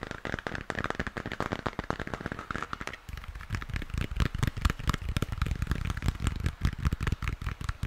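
Fingertips and nails rapidly tap and scratch the textured surface of a hollow plastic moon lamp, lit pink. The result is a dense, crackling stream of quick clicks and scrapes over a low, hollow thump. After about three seconds the taps turn heavier and more resonant.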